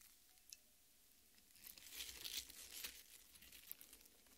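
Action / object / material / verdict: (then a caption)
scrape / cut watermelon half, flesh and rind / watermelon flesh / none. Long painted nails on both hands scrape and dig into the red, juicy flesh of a large, solid cut watermelon half with green rind, resting on a metal plate. After a quiet start with a faint click, bright, wet, crinkling scratches build and swell around the middle before trailing off into softer, scattered scrapes.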